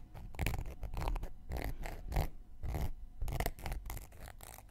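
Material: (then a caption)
Cork. A round, flat, solid cork coaster held in one hand has its rim and surface scraped with a thin wooden knitting needle. Quick, irregular bursts of dry, crackly scratching come in short strokes with brief pauses between them. Each stroke has a soft low rumble underneath and fades almost at once.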